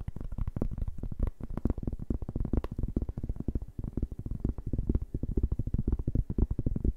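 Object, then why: Round cork board. A large, round, flat cork board, solid and thin, is held in both hands and tapped and scratched with fingertips and nails. The result is a rapid, steady stream of dozens of soft, dull thuds that are deep and muffled, with almost no bright content. Each tap dies away almost instantly.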